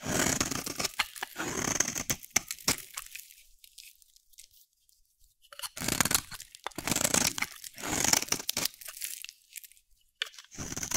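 A dry, solid yellow soap bar held in the hand is shaved with a metal utility blade, giving bright, crunchy scraping strokes. Bursts of crisp, tearing cuts run for about three seconds, fall nearly silent, return in a dense stretch, pause again, and resume at the end.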